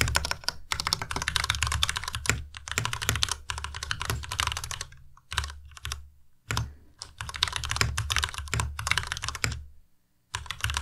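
Fingertips type on a white Ducky Miya Pro tenkeyless mechanical keyboard with plastic keycaps and linear switches. Rapid, bright plastic clacks ride over a low thud from each keystroke. Brief pauses break the typing, with a near-silent gap just before the end.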